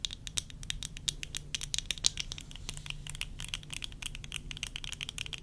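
Long nails tap and scratch on worn tortoiseshell plastic eyeglass frames with lenses, making a rapid, irregular stream of sharp, bright plastic clicks centered around 3.8 kHz. Each tick stops almost instantly, with light scratchy texture between taps over a faint, steady low hum.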